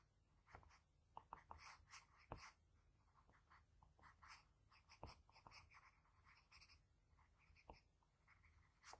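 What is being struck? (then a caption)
Graphite pencil on a sheet of drawing paper. A graphite pencil scratches and shades lines at the nose of a sketch on a flat sheet of white drawing paper. Soft, dry strokes come in quick bursts of bright, high-pitched scratching over a faint low hum, with a few sharper taps standing out.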